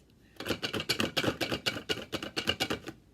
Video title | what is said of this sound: CBES Music K-1 | there's something in here that's musical, and you can't see it, but you can hear it when I shake it